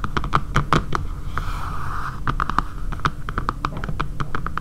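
Long, dark painted nails tap and scratch across the back of a dark grey matte plastic phone case with a camera cutout, lying flat on a table and likely fitted on a phone. Quick, dry clicking taps with a hollow tone near 1.2 kHz die away almost instantly, over a steady low rumble. Midway, a softer scratching stroke briefly replaces the taps before the tapping resumes.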